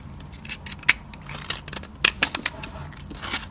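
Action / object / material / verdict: scrape / soap bar scraped with a metal blade / soap / none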